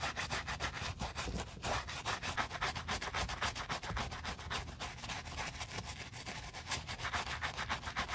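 A bristle brush with a wooden handle scrubs the foamy knit fabric upper of a white Adidas Yeezy Boost 350 sneaker near the collar and toe during cleaning. The brushing is continuous, with fast, slightly uneven back-and-forth strokes that make a bright, scratchy rubbing sound with a soft low rumble underneath.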